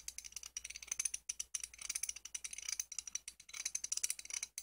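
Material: Steel.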